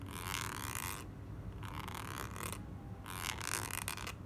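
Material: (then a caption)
Soft plastic. A full, soft plastic squeeze tube of clay mask, held in the hand, is scratched and tapped with long nails. Three bursts of bright, crinkly scratching rise over a steady low hum, separated by short quieter gaps.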